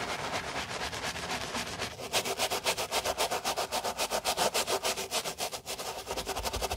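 Black-gloved hands scrub foam into a white Dior sneaker with a mesh and leather upper, resting on a towel, using a wooden brush with stiff bristles. Quick, regular back-and-forth strokes, about three to four per second, make a bright, hissing scratch that grows louder and more distinct after the first two seconds.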